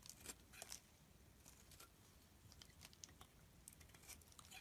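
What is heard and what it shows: A solid blue rectangular bar of soap held in the hand is shaved into thin layers with a box-cutter blade. The result is quiet, bright scraping with many short crisp cuts over a low rumble.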